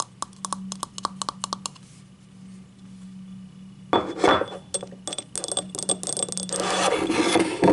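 Long nails tap and scratch the rim and ribbed side of a small, hollow, empty yellow ribbed ceramic cup held close up. A quick run of bright, clinking taps gives way to a soft, quiet scrape. Louder rasping scratches then follow, mixed with more sharp taps over a faint steady low hum.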